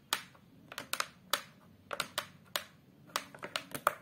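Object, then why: Fibreboard back panel of a photo frame. Long multicoloured acrylic nails and fingertips tap across the flat brown fibreboard back of a large face-down photo frame. There are 13 quiet, dry, bright clicks in irregular clusters, each stopping almost instantly with no ring.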